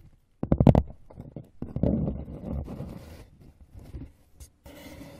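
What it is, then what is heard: Empty cardboard box. Fingers and nails tap and scratch the far wall and rim of an open, empty brown corrugated cardboard box with a raised flap. A quick burst of dull, hollow, low taps leads into rough, rustling scratches, then a few softer taps, and it ends in a steady, brighter scraping hiss.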